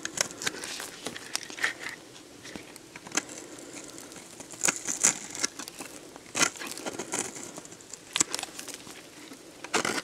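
A metal box-cutter blade scrapes and cuts shavings from the surface of a solid, dried, hand-sized red soap bar. Bright, dry crackling and crinkly scraping run throughout, with little low end. Sharp, crisp snaps stand out at irregular moments.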